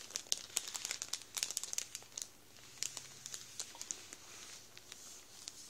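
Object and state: Plastic bread bag crinkling.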